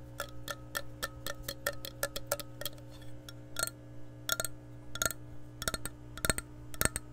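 Long nails tap the base and rim of an empty, hollow clear glass measuring cup as it is turned in the hand. Quick, bright clinks come in an even ticking rhythm at first, then in irregular clusters, each with a short glassy ring over a steady low hum.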